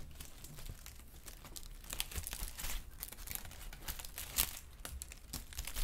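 A sheet of brown kraft honeycomb-cut packing paper is held up, crinkled and rubbed with the fingertips. The result is a steady stream of dry crinkling and crackling with sharp, bright rustles over a low hum, with a few louder crackles near the end.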